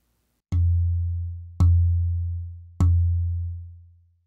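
A European spruce soundboard plate is tapped three times, each tap giving a brief bright click followed by a low, sustained resonant tone near 86 Hz that rings for under a second. Its tone sounds nearly identical to an Engelmann spruce plate of the same dimensions and density.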